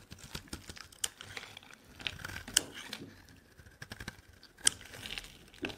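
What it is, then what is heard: Bar soap being carved. A metal blade scrapes and carves chunks and flakes off a solid white bar of soap held in the hand. Bright, dry scraping and crackling come in irregular bursts, with a few sharper, louder cuts standing out. There is almost no low end and no ring after each cut.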